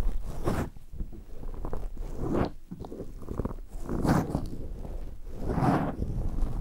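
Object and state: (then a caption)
Foam microphone windscreen being rubbed. Latex-gloved hands clasp a black foam windscreen on a recorder, then rub and scratch it with their fingertips. The result is a continuous, muffled, low-heavy crunching and rustling that swells and fades in several bursts, with brighter scratchy peaks.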